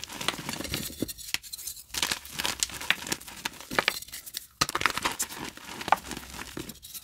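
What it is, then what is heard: Pressed gym chalk crumbled by hand. Yellow glow-in-the-dark reformed gym chalk chunks are crushed in both hands, with fingertips and palms squeezing and rubbing them as they crumble into fine powder over a bowl of chalk dust. The result is a dense run of dry, crisp crackles and gritty crunches, bright and papery with almost no low end. Short bursts come and go with brief quiet gaps between squeezes.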